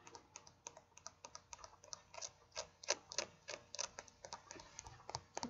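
Fingertips and short painted nails scratch and pick at the stitched seam of blue denim jeans bunched in the hands near the camera. About thirty quick, dry, bright scratches come at an uneven pace, each crisp and short with almost no low end. The soft fabric gives a papery rasp rather than a hollow knock.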